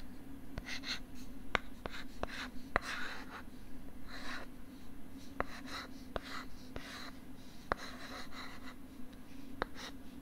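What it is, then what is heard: Plastic writing tablet, scratched and tapped. Fingers scratch and rub the molded plastic back of a pink plastic LCD writing tablet held beside the mic with its back facing out. Soft, breathy scraping bursts come and go, broken by sharp, dry clicks that stop at once. A steady low hum runs underneath throughout.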